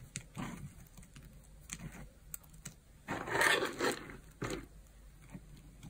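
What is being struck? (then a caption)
Pile of bar-soap flakes and chips. Fingertips with long nails press, rake and rub through a loose pile of dry, crumbled bar-soap flakes and small solid chips in pink, orange and yellow, spread on a white surface, with a knife lying unused nearby. Uneven bursts of dry, bright, crunchy crumbling come at an irregular pace, with the loudest, densest crunching near the middle.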